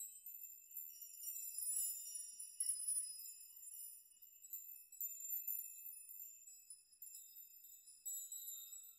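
A metal nail chime, made of metal nails hanging around the performer, is rocked and brushed by hand with a shaking motion so the nails clink together. The result is a quiet, continuous bright tinkling of high, ringing metallic tones with short decays and no low end.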